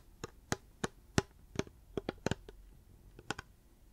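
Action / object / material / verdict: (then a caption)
tap / hard plastic water bottle / hard plastic / none. A reusable hard plastic water bottle is tapped with the fingers, giving ten short, dull taps at an uneven pace. Each tap has a low hollow body around 125 Hz with a brief bright click and almost no ring, over quiet background noise.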